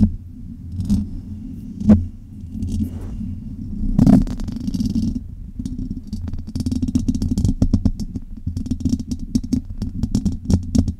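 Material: Metal mesh.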